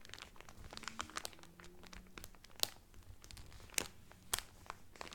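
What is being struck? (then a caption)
Cellophane-wrapped cotton towel. Both hands press, rub and crinkle the cellophane wrapper on a cotton towel. The result is a steady run of bright, dry crackles and crinkles with almost no ring. A few sharper snaps stand out above the rest, with faint low hum-like tones underneath early on.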